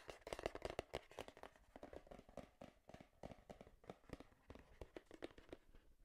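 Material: Cardboard.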